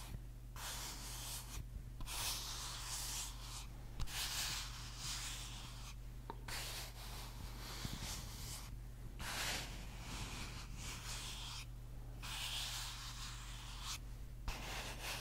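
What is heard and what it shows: A small clear plastic bottle with a white cap, partly filled with liquid, is held in one hand close to the mic while the fingertips and nails of the other hand tap and scratch its sides. Bright, hissy scratching comes in bursts separated by brief pauses, with occasional light taps, over a steady low hum.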